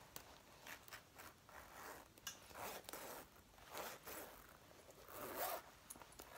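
Fingertips and long nails rub and grip the collar, front and lapels of a dark brown faux leather jacket being worn, near its metal zipper, which may add zipper rattle. Short scratchy, rasping bursts with bright hiss rise and fall over a quiet background, with the loudest swell near the end.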